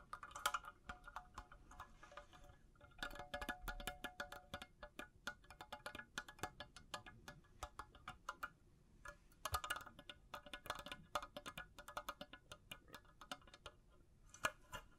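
A hollow, empty cylindrical makeup brush holder with faceted clear crystal bead panels (glass or acrylic) is held in both hands and tapped rapidly with long blue nails. The result is a steady stream of quick, sharp clicks and brief glassy chimes centered around 1.5 kHz with bright high edges, with the loose beads possibly jingling slightly.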